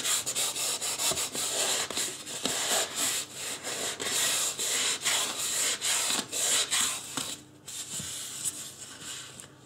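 Fingertips rub and scratch the top of a life-size white polystyrene foam mannequin head. The result is a steady run of bright, hissy, squeaky scraping strokes at an uneven rhythm, with a short quiet gap near the end before softer rubbing resumes.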